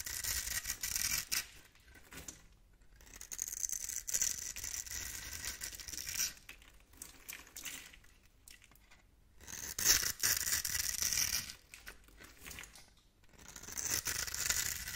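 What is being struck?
Soap bar carved with a blade.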